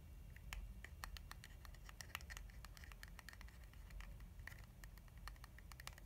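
Long fingernails scratch and tap the flat surface of a filled, lilac soft plastic hand-cream tube held in one hand. Quick, dry, bright clicks and scratchy ticks come in an irregular patter over a quiet, low background rumble.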